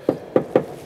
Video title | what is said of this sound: Porsche Audio Stealth Amplified System! - Behind The Sound - Porsche Boxster S 987 | it's very very tinny on that panel and that's what that skin soundproofing is doing